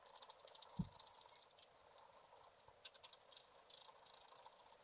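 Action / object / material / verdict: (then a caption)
scrape / wax-coated scratch art card scratched with a wooden stylus / coated paper / none. A black-coated scratch art card lying flat is scratched with a wooden stylus. Quiet, dry scraping comes in bright, raspy bursts, with a brief low thump near the start.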